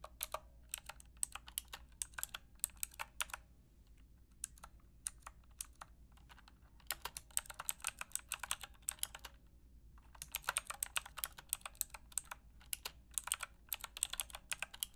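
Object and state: Plastic mechanical keyboard being typed on.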